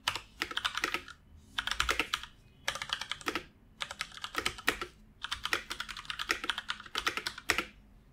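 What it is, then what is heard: Plastic computer keyboard. Fingertips of both hands type continuously on a full-size black plastic computer keyboard resting on a wooden desk. Quick, bright, clicky keystrokes come in rapid bursts separated by brief pauses, each tap short and dry with almost no low end.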